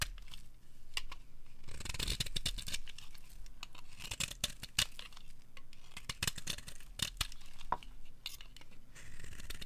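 A metal blade scrapes along the edge of a dry, bright green bar of soap held in the palm, shaving off strips. Crisp, bright shaving bursts come in quick succession, with sharp little clicks and a low rumble underneath.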